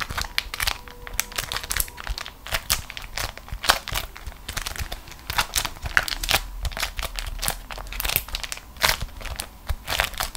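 A crumpled ball of beeswax-coated cotton food wrap is squeezed and crushed in both hands with long nails, resting on a matching waxed fabric sheet. Dense, bright crinkling and sharp crackling bursts come in quick succession over a faint low rumble, each snap dying away almost instantly.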